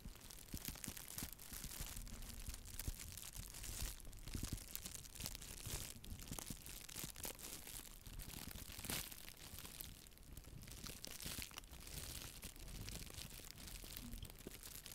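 A small white hollow nylon mesh bath pouf is squeezed and crinkled by fingers with long nails close to the microphone. The result is a steady, dense crackling and rustling that runs the whole clip, with a soft low rumble beneath and bright crinkly texture above.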